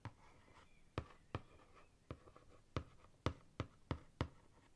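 Long fingernails tap and scratch across the printed top surface of a closed, thick ring binder with a glossy laminated cardboard cover. Short, sharp taps are heard at irregular intervals, with soft scratching between them, over a quiet background.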